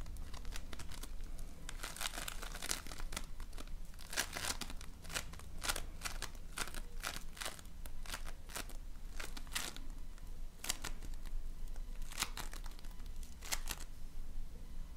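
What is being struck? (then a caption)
Floam, polystyrene foam beads in slime. A hand-sized lump of multicolored floam, small polystyrene foam beads bound in slime that is solid and soft, is squeezed and kneaded with fingertips and painted nails. Dense, bright crackling and crinkling pops burst out in quick clusters over a steady low rumble. The crackles stay close and dry throughout, rising and falling with each squeeze.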